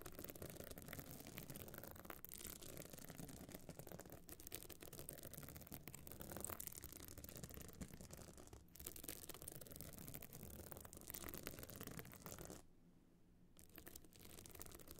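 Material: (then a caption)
Stone chips. Long nails scratch the surface of a small, hard, metal-frame clutch bag covered in glued stone chips, standing open. A dense, continuous rasping scratch runs throughout with brief catches and dips, then drops almost to silence for about a second near the end before the scratching resumes.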